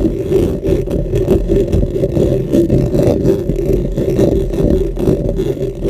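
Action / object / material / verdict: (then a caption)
scrape / metal mesh microphone grille / metal mesh / none. Both hands scratch around the metal mesh head of a dark, hollow, cylindrical microphone with fingernails and fingertips. The result is a dense, continuous, low and muffled scraping rumble with a steady hollow tone in the low-mids, fluttering in level throughout.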